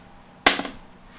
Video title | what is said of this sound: Part 2, Mega Charity Auction 3rd Annual Suicide Prevention Fundraiser, Saturday 9/28 3 PM Central | it's a really dull clunk instead of a plink